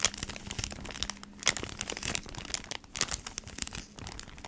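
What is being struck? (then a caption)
Cardboard package in a plastic sleeve. Long nails tap and scratch on a flat beeswax wrap pack, a cardboard package in a plastic sleeve. The sound is a quick run of bright, dry crinkles and clicks with very little ring. A faint low hum sits underneath in the first part.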